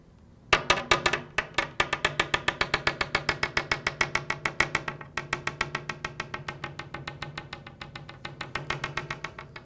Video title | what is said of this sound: Hartzell Composite Propeller Repair Video - Carbon Tip Repair | I do have some damage that's below the paint